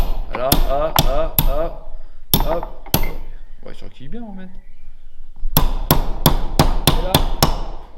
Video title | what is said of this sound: comment refaire son moteur de solex 3800 | j'entendais le bruit il a changé c'est qu'il est au fond